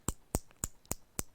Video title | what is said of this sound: Class 2 :- metal and nonmetal | इनको जब पीटते हैं ना तो ये आवाज करती हैं, टन टन की आवाज आती है